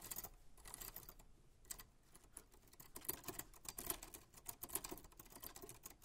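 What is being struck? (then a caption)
Manual metal typewriter. White-gloved hands type continuously on a 1940s Smith-Corona manual typewriter with a black metal body and paper loaded. A quiet, rapid run of sharp, bright mechanical key clicks and typebar strikes follows, each snapping off almost instantly with a light low thump underneath.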